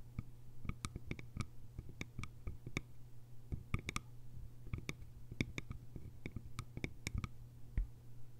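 Long fingernails tap rapidly and irregularly on the sides of a small, hollow, cylindrical bamboo container with a lid. Each tap is a short, dry click with a bright, hollow ring that dies away almost at once, heard over a steady low hum.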